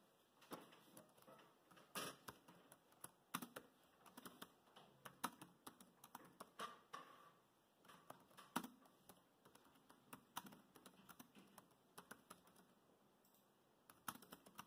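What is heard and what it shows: Fingertips of both hands type rapidly on the plastic chiclet keys of a dark grey laptop keyboard. The result is a quiet, steady stream of short, dry clicks and taps in uneven bursts, with a few sharper louder strikes and brief pauses between runs.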